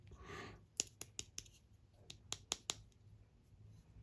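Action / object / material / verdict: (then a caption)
tap / assembled plastic model kit head / plastic / solid. Eight sharp, dry taps land on the assembled plastic head of a model kit, each with almost no ring, after a brief soft rustle. The clicks sound solid rather than hollow because the head is made of slightly better plastic, so it sounds less empty than another kit's head.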